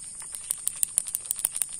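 A new, unused plastic fishing lure, about 7 cm long and around 12 grams and meant as a giveaway prize, is shaken so its built-in rattle sounds. About ten quick, dry, bright clicks rattle out over a faint, steady high-pitched hiss. The lure's internal rattle is working.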